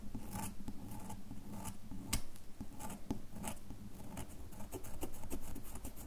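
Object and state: Bar of soap scratched with fingernails.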